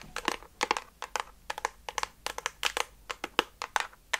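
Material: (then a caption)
Plastic. A blue and pink hollow plastic toy gun in water-gun style is held in front of a fluffy microphone while long dark nails tap and scratch its surface. A rapid, uneven series of crisp, clicky taps and scratchy crinkles is heard, bright and hollow with almost no low end. Each hit dies away almost instantly.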